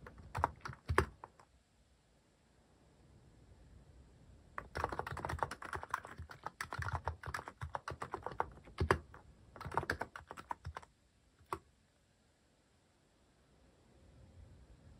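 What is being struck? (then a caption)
Mechanical keyboard with plastic keycaps. Fingertips type on a mechanical keyboard with plastic cat keycaps, giving crisp, short clacking keystrokes with a soft low thump. A brief burst of keystrokes comes first, then a pause before a longer, denser run of steady typing. One last lone keystroke falls near the end before quiet returns.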